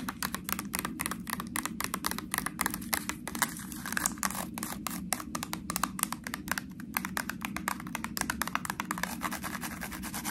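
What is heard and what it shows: Long nails rapidly tap and scratch the ridges of a small, ribbed, white plastic honey mustard sauce cup, sealed and full under its foil lid. The result is a dense, steady stream of quick, bright, dry clicks and scratchy rasps that die away almost instantly, over a faint, low background hum.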